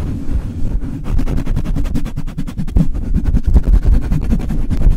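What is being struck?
Metal mesh microphone grille.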